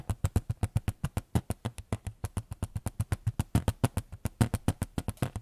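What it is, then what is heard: Small photo frame. A small white photo frame is tapped in a quick, uneven series of about 38 short, dry taps with no talking. Each tap is a brief, low thud centered near 113 Hz with almost no ring, carrying a faint bright click on top.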